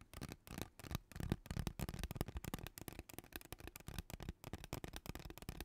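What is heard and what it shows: Long teal nails scratch across the ridges of a hollow, purple ribbed plastic pop tube held close to the mic. The result is a rapid, irregular run of short, dry, raspy bursts with a hollow, low-heavy body and crackly high edges. Each burst stops almost at once, with no ring.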